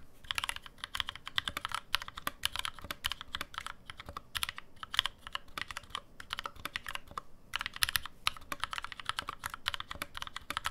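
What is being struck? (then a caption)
Mechanical keyboard with aluminum case and plastic keycaps. Fast two-handed fingertip typing on a black NovelKeys NK65, a 65% mechanical keyboard with an aluminum case, plastic keycaps and lubed NovelKeys Cream switches, resting on a deskmat. A steady rapid stream of crisp, bright key clacks with very short decay, and only brief pauses between bursts.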